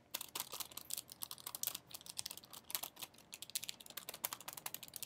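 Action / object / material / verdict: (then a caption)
scrape / small foil and plastic sachet / foil plastic / none. A small, flat metallic foil-and-plastic sachet is held in one hand against a wall while the fingers of the other hand press and crinkle it. The result is a quiet, continuous stream of sharp, bright crackles and clicks with almost no low end, each snap dying away instantly. Short pauses break up the crinkling bursts.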